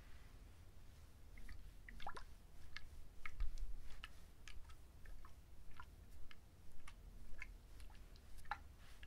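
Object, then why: Fibrous coconut husk. A whole coconut with its rough, fibrous husk is turned in the hands while fingertips and nails scratch and rub the husk. Scattered, slow taps come through as short, crisp clicks over a low, steady rumble. The result is a soft, close, scratchy texture.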